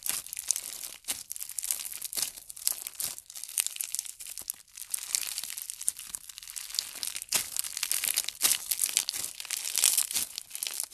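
Yellow fishbowl-bead slime is folded and pressed between fingers, giving a dense run of bright crackling and crinkling pops. The beads snap in quick, crisp bursts with almost no low end and no ring, rising and falling as the slime is worked.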